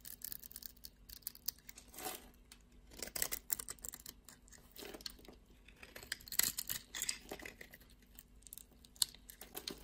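A solid blue and white striped bar soap held in the hand is cut into small cubes with a blade, and the cubes are scraped off. Crisp, bright crackling cuts and scraping strokes come in quick clusters with short pauses between them.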